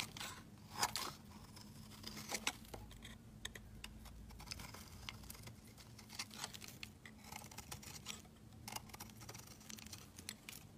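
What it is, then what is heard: Soap bar being shaved. A metal utility-knife blade shaves thin flakes off the edge of a rectangular, solid white soap bar held in hand. The result is a quiet run of crisp, bright scraping and cutting strokes, some louder than others, over a faint steady low hum.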